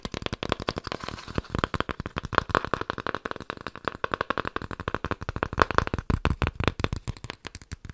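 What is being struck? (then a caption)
Cardboard. Cardboard is tapped in a rapid, steady run of short, dry taps for eight seconds. Each tap is a dull low knock with a brief papery click and almost no ring, plus a faint tone around 1 kHz in some hits.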